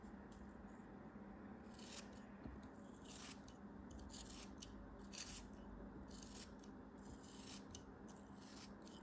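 A solid beige kinetic sand cube, held in the fingers, is sliced into thin layers with a craft knife. Soft, gritty scraping and crumbling strokes come in repeated bright bursts over a quiet, steady low background hum.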